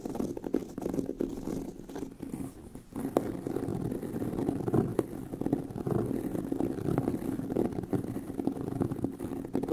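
Both hands scratch the surface of a tan pebbled leather handbag with their nails, the hollow bag body resonating. The result is a dense, continuous rasping scratch centered in the low-mids with a slight hollow thump, steady through the clip with brief dips and a few sharper strokes.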